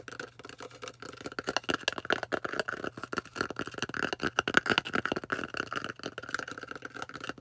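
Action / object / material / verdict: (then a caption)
tap / polystyrene foam disc / polystyrene foam / none. Long orange nails rapidly tap and scratch a thick, solid white polystyrene foam disc. The result is a dense stream of dry, crackly clicks and squeaky scrapes with a bright tone and almost no low end, each sound dying away instantly.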